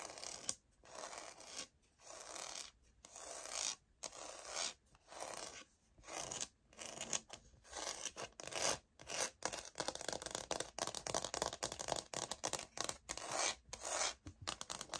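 Long manicured nails tap and scratch across the textured grain of a light oak-pattern laminate floor sample plank, flat, thin and solid, held upright with both hands. Bright, dry scratching comes in short bursts separated by brief silences, mixed with quick taps that die away almost instantly.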